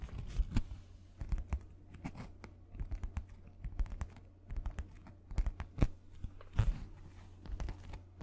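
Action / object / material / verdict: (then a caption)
scrape / sheet of paper / paper / none. A white paper sheet held in both hands is tapped and scratched with fingernails close to the microphone. Dense, rapid clicks and dry scratches come in uneven bursts over a steady low hum, like soft crinkly typing.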